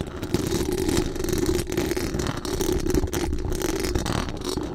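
Very long acrylic nails scratch fast across the hollow metal mesh dome grille of a large condenser microphone. The result is a dense, continuous scraping rasp with a strong low rumble and a steady mid-low band, and little bright top end.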